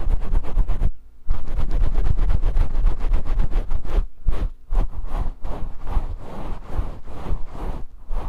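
Fingers rub and scratch the fibers of a grey faux fur microphone windscreen, producing dense, rumbling, boomy scratching heavy in low bass with a fast, uneven rhythm. The rustling runs almost continuously, dropping out briefly near the one-second and four-second marks.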